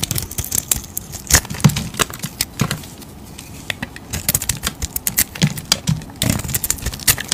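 A utility knife blade scrapes and shaves curls off the face of a hand-held oval bar of blue soap with a glittery painted coating. Dense, crisp scraping and crackling cuts come in quick bursts, with bright high edges over soft low thumps. The strokes pause briefly near the middle before picking up again.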